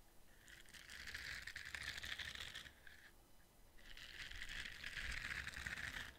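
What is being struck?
Ridged silicone scrubber brush.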